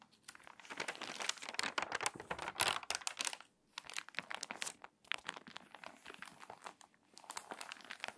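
Long nails scratch and tap across the crinkly pages of a water-damaged paper magazine, and a page is turned. Dense, bright crinkling and rustling comes in bursts, with brief quiet gaps between them.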